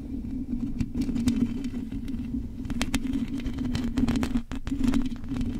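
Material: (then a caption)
Metal mesh. Long nails on both hands scratch the hollow metal mesh grille of a silver condenser microphone, mostly across its top and sides. A dense, continuous rasping rumbles with a steady low hum around 230 Hz, crossed by quick, bright scratchy streaks. The texture stays close and full throughout, dipping briefly near the end before resuming.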